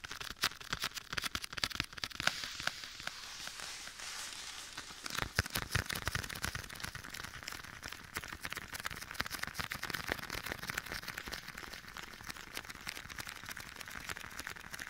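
Bare fingertips tap and pat a soft, hollow black leather glove worn on one hand and held beside a binaural microphone's ear, with an echo effect applied. The result is a dense, continuous stream of quick, dry, crackly taps, bright and papery, with little low end and very short decays blurred by the echo.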